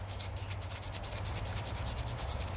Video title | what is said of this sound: First Daleys Delivery On A Sunday + How Can I Afford It | sounds like cardboard it doesn't have a lot of moisture in the leaves it's a dry sounding leaf